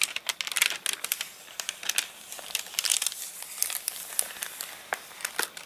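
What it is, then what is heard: Stiff, crinkled dried paper pages. Palm and fingertips rub and press flat a page of an open paper catalogue whose pages dried stiff and crinkled after getting rained on. The result is a dense run of bright, crisp crinkling and crackling with sharp little snaps, short and dry with no low end.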